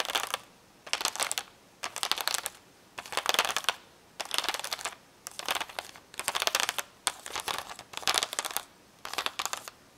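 Long nails tap and scratch the hollow plastic bubbles of a plastic blister pack of magnetic letters on a cardboard backing. The sound comes in repeated short bursts of rapid, crinkly clicking and scraping, bright and high with almost no low end. Brief quiet gaps separate the bursts.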